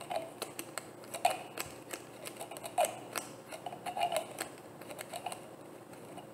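A hollow, frosted white plastic bottle with a black cap is tapped with long nails. The result is a quick, irregular series of light, dry clicks with a hollow ring around 700 Hz and bright, sharp attacks that die away almost at once.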